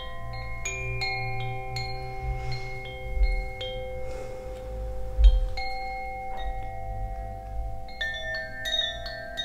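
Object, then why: Bamboo wind chime with metal rods. A hollow bamboo Koshi wind chime with metal rods is held up by its string and swung back and forth by hand, so its internal clapper strikes the metal rods. Bright, overlapping bell-like tones ring out and sustain over a low, steady rumble.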